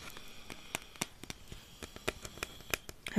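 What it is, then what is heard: Cardboard snack tube. Fingers tap and pat the side of a yellow Pringles tube made of cardboard and composite, hollow and filled with chips, held in the hand. About a dozen soft, dry, hollow taps sound at an irregular pace over a quiet, faintly crackly background, each with a bright click and almost no ring.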